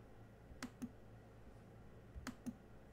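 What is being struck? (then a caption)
Plastic laptop keyboard keys. Fingertips type on the black plastic chiclet keys of a silver laptop, giving four soft, short key clicks in two quick pairs. Each click has a dull low-mid thump with a brief bright tick that dies away almost at once, over a quiet low background hum.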